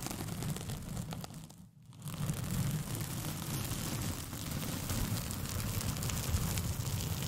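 A thin white paper sheet with pink polka dots, curled into a hollow, empty tube around a foam-covered microphone, is scratched with long painted fingernails. The result is a steady, dense scratching and crinkling with a strong low rumble and some bright hiss. The sound dips almost to silence briefly near the two-second mark before continuing.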